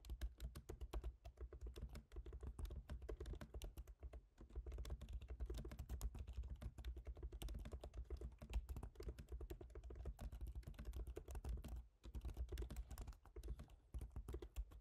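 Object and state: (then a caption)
Laptop keyboard being typed on. Both hands type rapidly with their fingertips on a MacBook Pro keyboard, with black plastic keycaps set in a silver aluminum body. The result is a dense, steady stream of short, crisp key taps over a constant low hum, with brief pauses around 4 and 12 seconds.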